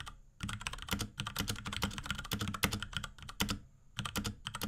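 Rapid typing with the fingertips of both hands on a small pink Akko X Ducky 3084 mechanical keyboard with Cherry MX Brown switches, plastic keycaps and a plastic case. Dense, bright plastic clacks with a low thock under each key press come in quick bursts, with short pauses near the start and shortly before the end.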